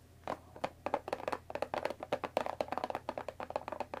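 Long dark nails tap along the top edge of a closed Earl Grey tea box, made of thin printed cardboard, about 20 cm long and likely full of tea bags, resting on a wooden table. About twenty quick, dry, hollow taps come in an uneven rhythm. Each has a mid-pitched papery body around 600 Hz and dies away almost instantly.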